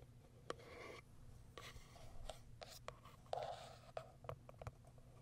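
Long white acrylic nails scratch along the sides and top of a small white printed Kiara Sky cardboard product box. Soft, dry scraping and rubbing are broken by sharp, quick nail clicks on the cardboard, over a steady low hum.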